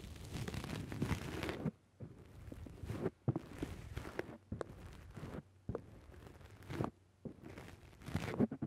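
Fingers squeeze the side of a black foam windscreen on a microphone, then a fingertip presses down on the top of the foam. The result is a series of close, muffled, low-heavy crunching and rustling bursts, separated by brief near-silent gaps.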